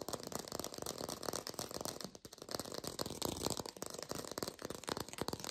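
A textured artificial plastic orange is tapped rapidly with fingers in a lo-fi recording, giving a dense stream of short, dry, rattly taps with a papery, bright edge. The tapping runs almost continuously, with a brief pause around two seconds, and each tap dies away almost instantly.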